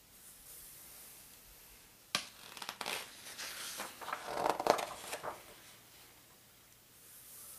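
Fingertips and a palm rub over the glossy paper pages of a large open atlas showing North America maps, and a page is turned. After about two seconds of faint hiss, a sharp papery snap starts a run of bright, crinkling rustles that peak near 4.7 seconds. The rustling then fades back to quiet hiss by around 5.5 seconds.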